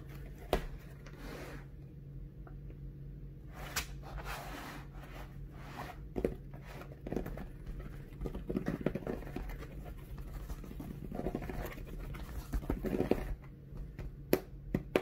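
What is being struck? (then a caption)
Cardboard mailer box. Fingertips scratch and pat the surface of a flat, brown, hollow, closed cardboard mailer package lying on a dark table. Soft, dull scratching rustles mix with light, muffled taps over a steady low hum, with little high-end brightness.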